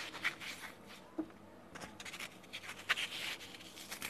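A small, solid cube of soft, porous, dry green phenolic floral foam, about 3 cm across, is held between fingertips with dark painted nails and squeezed, crushed, rubbed and crumbled. Quiet, bright, dry crackles and scratchy crunches pop out in short bursts over a faint hiss. The sharpest crunches come near the start, at about 1.2 seconds and near 3 seconds.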